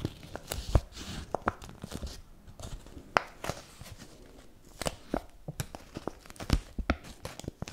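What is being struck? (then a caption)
Paper banknote. A single euro-style paper banknote held in the fingers is crumpled, rubbed and scratched with long nails. The result is dry, crisp crinkling and tearing-like rustles, broken by many sharp, bright crackles over a low rustle.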